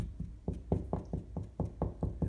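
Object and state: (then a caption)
Drywall over a stud, solid. Ten quick knocks on a drywall wall over a wooden stud give dull, low thuds that die away fast, with almost no high-frequency content. The sound is solid and less hollow because the stud sits behind that spot.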